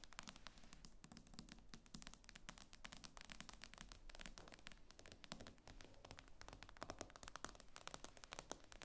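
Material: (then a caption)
Glass. Long painted fingernails of both hands tap and scratch across the glossy glass screen of a solid tablet lying flat. The result is a fast, quiet stream of sharp clicks with short scraping strokes, each tap dying away at once, over a low steady hum.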